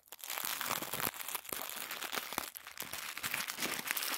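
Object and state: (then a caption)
Crumpled tissue paper. A crumpled ball of thin white tissue paper is passed from one hand to the other, squeezed, and crinkled with the fingers over a wooden table. It makes a dense, continuous rustle of bright, dry crackles and crunches with almost no low end, swelling with each squeeze for about four seconds.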